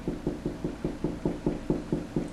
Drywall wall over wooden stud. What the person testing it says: a higher pitched noise and I know that's right where the stud is